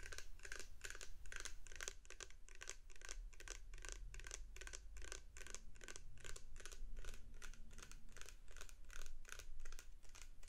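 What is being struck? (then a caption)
Plastic shower gel bottle. A medium clear plastic shower gel bottle with a white pump top, full of blue liquid, is held in both hands near the microphone and tapped and scratched with long painted nails. Rapid, crisp, bright clicking taps and scratches run steadily throughout, over a quiet low rumble.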